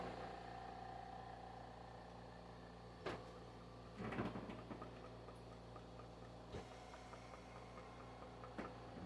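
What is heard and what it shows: A Balaur Arms Byakko katana in crimson is shaken, and its loose fittings rattle audibly with short clicks over a steady low hum. The shitodome were not glued in place, so the fittings rattle where they should stay silent.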